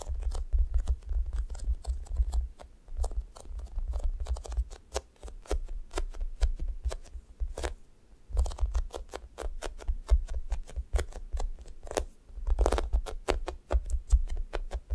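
Long nails and fingertips press into a thick, solid, sticky foam squishy toast and peel off its sticky top. The result is a rapid run of sharp, crackly tacky clicks and snaps over a heavy low thump, with brief pauses near 3 and 8 seconds.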